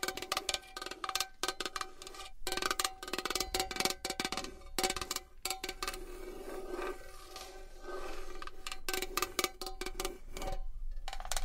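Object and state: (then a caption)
Metal box. A metal box is tapped and scratched with long nails for ASMR. Quick, dry taps with almost no ring mix with bright, rasping scratches, while a faint metallic tone near 360 Hz runs under them. The sound pauses briefly now and then.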